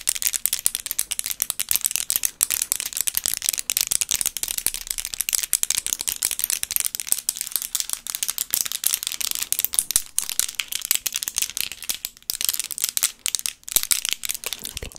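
Extra-long solid acrylic nail extensions, mint green with glitter tips, on both hands are tapped and clicked against each other, held away from the microphone. A dense, rapid stream of bright, dry clacks rattles on for about fifteen seconds, almost all in the high treble, with no ring after each click.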